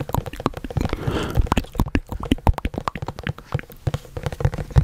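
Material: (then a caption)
Cardboard. A hollow white printed cardboard product box, held in both hands, is tapped and scratched with fingertips and nails close to the microphone. Quick, dull, low thumps tumble out in an uneven stream, mixed with a brief soft scratching rustle near the one-second mark.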